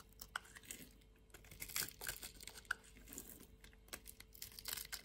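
A utility knife blade slices and scrapes small cubes off a solid white bar of soap that is grid-scored and held in the hand. The sound is a quiet run of dry, crisp crunching and crackling, bright and short with no ring, with a few sharper snaps as pieces break free.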